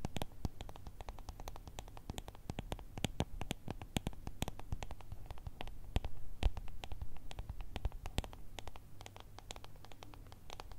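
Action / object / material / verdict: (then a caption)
tap / small ribbed plastic jar filled with gel beads / plastic / none. A small, ribbed, clear plastic jar full of gel beads is scratched and tapped with long red nails. The result is a dense run of quick, dry clicks and scratchy ticks with short, bright transients over a low, steady hum.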